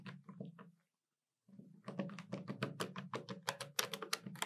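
Long nails tap the keys of a hollow black plastic desktop calculator, sometimes with two index fingers and sometimes with all fingers. A few quiet, clicky taps with a low hollow thud give way to a short silence, then a faster, irregular run of sharper, brighter key clicks.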